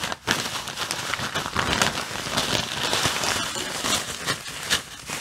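Fingers press, squeeze and crinkle a clear plastic bag full of white artificial snow. The result is a steady, bright crinkling and crackling with sharp little pops, after a brief quiet dip at the very start.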